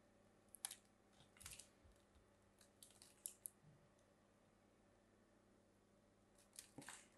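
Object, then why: Bar of soap. A thin metal craft blade carves a hand-sized, solid blue-and-white striped bar of soap held in fingers with long French-manicure nails, scraping and cutting flakes and chunks off its surface. Quiet, crisp, bright scrapes and short cutting snaps come in scattered bursts over a faint, steady low hum.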